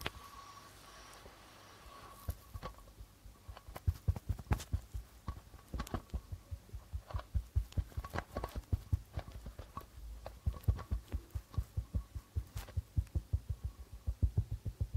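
Fingertips of both hands rapidly tap the white plastic membrane of a hollow darbuka drum. After a quiet opening with a faint steady hum, the taps come as quick, uneven runs of deep, dull thumps that die away almost instantly, with occasional brighter clicks on top.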